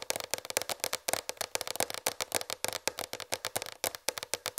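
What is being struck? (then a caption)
Plastic tray. Fingertips and long red fingernails tap a large, raised white plastic tray, making about 29 quick, dry, clicky taps in an uneven rhythm. Each tap is bright and hollow, centered in the mid-range with plenty of high clatter and almost no low end, and it dies away instantly.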